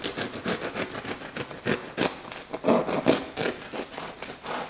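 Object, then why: Crusty wheat bread loaf cut with a serrated knife. A serrated bread knife saws back and forth through a large, round, solid loaf of wheat bread with a hard, floured, baked crust, which rests on a white cutting board and is held down by an oven mitt. Repeated rough scraping strokes mix with dry crackling as the blade cuts through the crust and crumb. A slice comes off.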